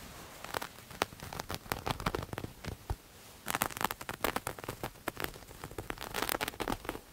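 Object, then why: Textured knit fabric. Grey textured knit fabric is held in one hand and scratched quickly with the fingernails of the other. Dry, crackly scratching bursts spread from low to bright highs, with sharp, short strokes that stop almost instantly. The strokes grow louder and denser about halfway through.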